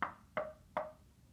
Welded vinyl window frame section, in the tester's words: sounds like you're knocking out a hard piece of oak okay the extremely durable